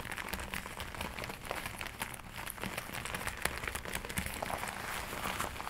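Hands with long nails rub and scratch the forearm sleeves of a glossy black leather jacket being worn. The result is a steady stream of soft crinkling and rustling, dotted with quick, bright scratchy ticks over a faint low hum.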